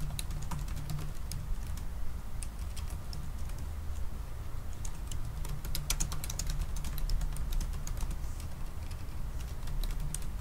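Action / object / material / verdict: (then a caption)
tap / laptop keyboard with plastic keys in an aluminium body / plastic / none. Both hands type fast with their fingertips on the black plastic keys of a silver aluminium laptop keyboard. Rapid, short, bright key clicks patter unevenly over a steady low hum near 170 Hz that carries most of the energy. Each click dies away almost instantly.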